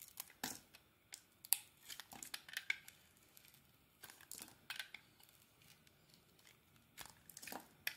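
A metal utility blade scrapes and carves shavings off a solid rectangular white soap bar with a teal embossed emblem, held in the hand. Quiet, crisp scraping strokes come in short bright bursts with little low end. The strokes stop dry, with no ring after each cut.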